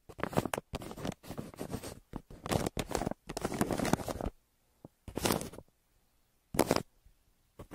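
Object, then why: Kraft paper mailer and graphite pencil. A graphite pencil held in the hand scratches and scribbles across a flat, crumpled brown kraft paper shipping mailer with printed recycling text and a smile logo, lying on a surface between two microphones. Dry, papery scribbling comes in bursts of varying length, some long and continuous, others short strokes, separated by brief silences. The sound is quiet and mostly mid-toned, with little bright hiss.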